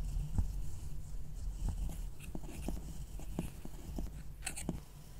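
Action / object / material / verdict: scrape / pressed powder eyeshadow in a plastic palette / pressed powder / none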